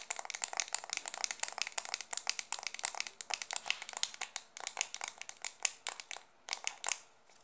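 A small, round, hollow white plastic makeup compact, held in both hands, is tapped and scratched fast with long dark-painted nails. The result is a rapid, uneven run of about forty dry, bright clicks and scratchy ticks with almost no low end and no ring. There are brief gaps near the end.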